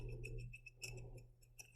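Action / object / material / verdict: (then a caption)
shake / glass jar holding glitter and confetti / glass / none. A glass jar holding leftover glitter and confetti, with no lid, is shaken like a sensory jar. Its contents rattle in a quick run of light, bright ticks and clicks over a steady low hum, for under two seconds.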